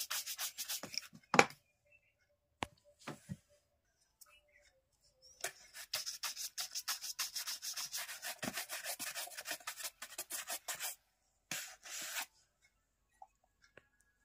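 A wooden-backed bristle shoe-shine brush is scrubbed vigorously over a black polished leather dress shoe worn on a foot. Rapid, dry, bright bristle strokes come in bursts separated by short pauses, with a longer stretch of steady brushing in the middle. The brushing ends with a few faint taps.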